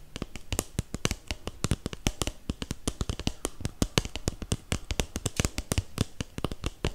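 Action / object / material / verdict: tap / disposable paper cup / paper / none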